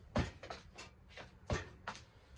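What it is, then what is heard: Steel work ramp propped on a block, solid and secure. A hydraulic work bench ramp, lifted and supported on a block, is shaken to check that it is secure, producing a series of dull, low knocks and rattles. The ramp holds solid and stays put, so it is safe to work on.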